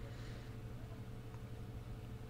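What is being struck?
Nothing is struck.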